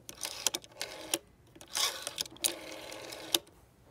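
A long fingernail taps and scratches the clear plastic rotary dial of a green vintage phone, with its gold metal rim and finger stop. Sharp, bright clicks with very short decay are mixed with brief, hissy scratching sweeps, and there is almost no low end.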